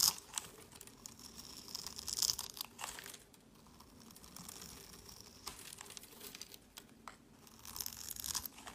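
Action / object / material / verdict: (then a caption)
scrape / bar of soap scraped with a knife blade / soap / none. A solid orange bar of soap, pre-scored into cubes and held in the hand, is scraped with a utility knife blade, and small cubes crumble off. Bright, dry, crunchy scraping and crumbling comes in irregular bursts, loudest near the start, around two seconds and near the end, with a quieter stretch of soft scraping in between.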